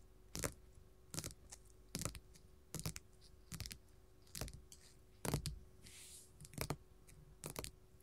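Gold metal filigree finger claws tap a flat pink glitter faux leather sheet lying on a table. About nine short bursts of quick, crisp clicking taps sound, each with a dull low thud under a bright metallic tick. A brief soft brushing hiss comes between the later taps.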